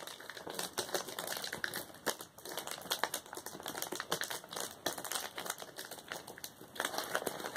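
A flat sheet of plastic bubble wrap is tapped quickly and pressed with the fingertips of both hands, like typing. The result is a steady run of short, dry, clicky taps with a bright crackle and almost no low end, closely resembling a typewriter.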